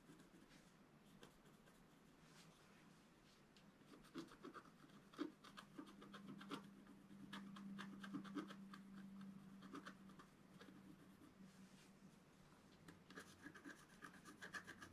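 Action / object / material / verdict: scrape / black-coated scratch art paper scraped with a wooden stylus / coated paper / none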